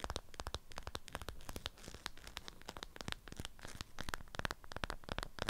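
Long acrylic nails scratch and tap the waxed surface of a strawberry-print beeswax cloth wrapped around a flat rectangular item. Rapid, crisp clicks alternate with dry, crinkly scratching that sounds almost like tearing, each hit bright at the top and dying away instantly.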